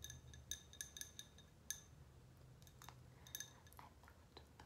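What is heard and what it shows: Long painted nails tap and scratch the sides of a medium pink glass candle jar with a cork lid, held in both hands. The taps give bright, short, ringing clinks with high overtones, mixed with softer scratching swipes over a faint low background hum.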